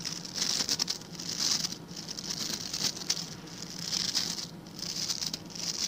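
Fingertips rapidly scratch and flick the stiff white and blue plastic bristles of a hand-sized blue plastic scrub brush held close to the microphone. The result is a dense, bright, crackling patter of high-pitched bristle scratches that swells and fades in waves, over a faint steady low hum.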